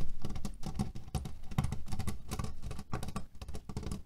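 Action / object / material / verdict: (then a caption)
scrape / cotton pillow filled with cherry pits / cherry pits / none. Fingernails scratch and tap a cotton cushion filled with cherry pits. A dense, continuous patter of small dry clicks and rattling crunches shifts with each stroke, with a soft, low-heavy body and no lingering ring.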